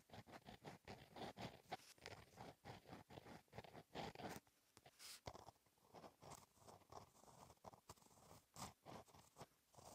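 A gel pen tip scratches across a flat black lined paper notebook page while writing in cursive. A quiet series of short, dry scratching strokes with brief pauses between them, carrying a mid-range rasp and some bright edges, with almost no ring after each stroke.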